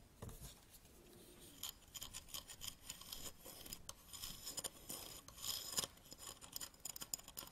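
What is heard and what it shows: Fingernails scratch and rub along the legs of an upright aluminium tripod, then move to its plastic head handle at the end. The sound is a quiet, bright, dry rasp with brief scraping strokes and no ring.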